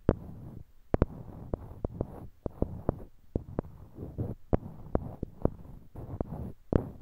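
Small, solid, light-colored wooden cubes are held in pairs in each hand near a binaural mic, and fingertips click and knock one block against another. Nineteen sharp, dry knocks sound at an uneven pace and cut off almost instantly. A soft, low rustle fills the gaps between them.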